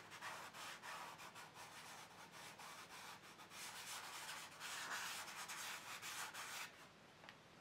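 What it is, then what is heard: Fingertips rubbing chalk on a paper page. Fingertips rub and blend chalk dust across a large black paper sketchbook page lying flat on a table. A steady run of soft, dry, bright rubbing strokes hisses with a papery texture, swelling in places before thinning out near the end.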